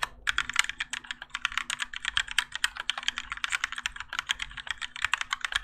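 A Keychron K4 compact mechanical keyboard with Gateron Yellow switches, grey and orange ABS plastic keycaps and a plastic and metal case rests on a desk mat while both hands type continuously with their fingertips. A steady stream of quick, bright, clacky keystrokes with almost no low end is heard, each dying away almost instantly over a faint steady low hum.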